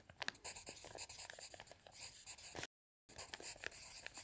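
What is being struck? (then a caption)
Pencil on a paper notepad. A pencil scratches across a thick stack of lined paper on a table while writing, with the other hand lying flat on an open dictionary. Quiet, bright, scratchy strokes and small ticks run steadily, broken by a brief full silence before the writing resumes.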